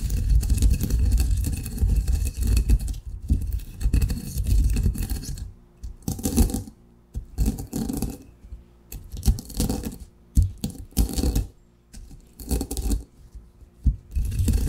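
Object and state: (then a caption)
Coffee beans ground in a granite mortar. A granite pestle pounds and grinds coarse coffee grounds in a granite mortar. A steady, low, gritty grinding runs for the first five seconds, then gives way to separate short bursts of crunching and scraping with quiet gaps between them.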